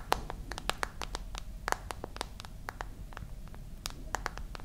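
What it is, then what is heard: Smartphone glass and back tapped with nails. Long nails tap the glass screen side and then the metal-and-glass back of the same smartphone. Sharp, dry clicks arrive in an irregular rhythm, some brighter and louder than others. Each one dies away instantly over a low, steady background hum.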